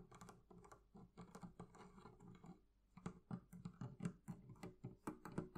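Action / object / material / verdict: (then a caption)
tap / leather carrying handle on a wooden chest / leather / none. Long nails tap and scratch the curved leather carrying handle on top of a hollow wooden barrel chest. The result is a quick, irregular run of soft, hollow knocks with a low body and short decay, mixed with faint bright scratching. The taps thin out briefly near the middle, then return sharper and louder.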